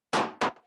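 A rubber bouncy ball, left in liquid nitrogen for about 30 seconds, is tapped twice against glass, giving two hard, short knocks. The ball is rock hard: removing its heat energy has made it brittle rather than frozen.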